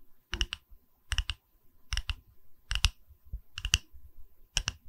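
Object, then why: Small round wooden log slice with bark rim. Long red nails tap and lightly scratch a small, solid, round wooden log slice pedestal with a bark rim, cradled in both hands in front of a Tascam microphone. Quick clicky taps come in clusters of two or three, six groups in all, each with a low thud beneath a bright, dry tick that dies away almost instantly. Faint soft scratching fills the gaps.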